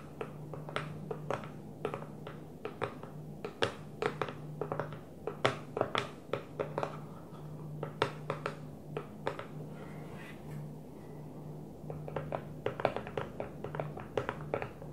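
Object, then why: Plastic food container. Long manicured nails of both hands tap on an empty clear plastic food storage container that sits upside down on its blue lid. The result is a quick, irregular run of sharp, dry clicks and taps with bright edges and almost no ring. A faint steady low hum sits underneath.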